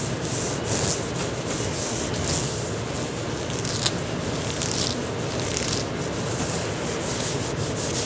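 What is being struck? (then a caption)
Knit fabric tank top. Fingertips and nails scratch and rub an olive green knit fabric tank top being worn, working over the shoulders and chest with one or both hands. The result is a steady, dense scratchy rustle with a bright hiss on top and a low soft rumble underneath, swelling slightly with each pass of the hand.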